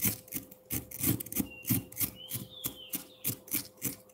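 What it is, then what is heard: Frozen milk ice block being scraped. A hand-held metal fork scrapes and shaves a solid block of frozen pineapple milk ice, and the shavings gather at its base. About fifteen quick, rough, raspy strokes repeat at a brisk, slightly uneven pace, each one with a low crunchy body and a bright hiss. A faint steady tone hums underneath, and a thin, high whistle-like tone drifts through the middle.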